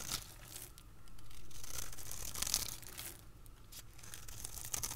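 A utility blade scrapes and cuts thin crunchy layers from a dry, solid, translucent yellow oval soap bar held in the hand. Dry, crackly tearing and crumbling scrapes with bright, high hiss come in repeated strokes over a low rumble.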